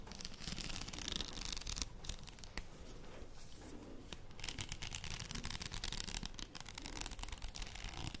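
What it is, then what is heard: Faux pearl padded headband. Long painted nails scratch along the small plastic faux pearl beads covering a wide, empty padded headband with a hollow arch, held in both hands close to the mic. The result is a steady, dense, scratchy crackle with a bright, hissy top and a soft low rumble underneath, at a quiet, even level.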